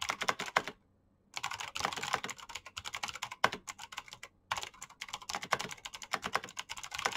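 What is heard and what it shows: Both hands type fast with their fingertips on a black plastic backlit mechanical keyboard with clicky switches. The result is a dense run of sharp, bright clicks that die away almost at once. The typing pauses briefly near the start and again midway through.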